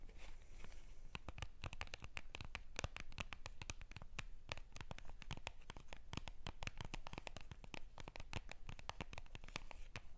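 A small Hello Kitty UNO card box of printed cardboard, possibly still shrink-wrapped and full of cards, is held in both hands and scratched and tapped with long purple-painted nails. The result is a dense, steady stream of quick, dry clicks and scratchy crinkles with bright edges and no ring, over a soft low rumble.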